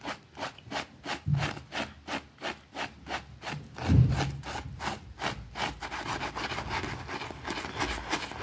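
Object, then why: Small fabric rug scrubbed with a plastic brush on concrete. A white plastic hand brush scrubs a small, thin, soapy green fabric rug with a rabbit print on a concrete floor. Evenly spaced, bright rasping strokes speed up into a continuous, fast scrubbing, with a couple of low thumps along the way.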